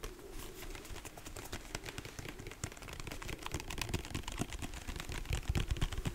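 Fingertips and nails tap rapidly on a large white plastic lotion pump bottle, held both upright and sideways. The result is a quick, irregular patter of short, dry taps with dull low thumps and bright clicky edges, growing slightly louder toward the end.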